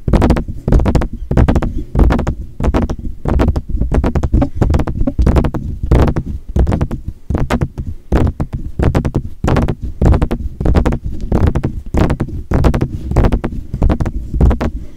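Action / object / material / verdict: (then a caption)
tap / metal USB microphone with mesh grille / metal / none. Fingertips of both hands tap and scratch the mesh grille and upper hollow body of a silver metal USB microphone in the Blue Yeti style. Quick, irregular taps land as deep, close thumps with brief bright clicks on top, and a soft scratchy rustle fills the gaps between them.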